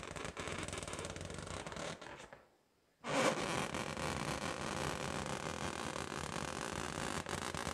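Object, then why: Inflated latex rubber balloon. A hollow, pink inflated latex rubber balloon held in both hands is tapped and scratched with long patterned fingernails, making a dense, steady rustling scrape with a rubbery hum around 500 Hz. The sound fades to near silence for about half a second, then resumes slightly louder and continues to the end.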